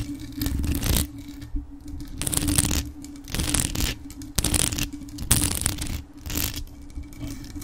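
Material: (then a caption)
Metal. Extra-long acrylic nails tap and scratch the jeweled body and mesh grille of a hollow grey metal desktop USB microphone decorated with rhinestones. Bursts of bright, rasping scratches come in repeated passes, with close thuds in the low end. A steady low hum runs underneath.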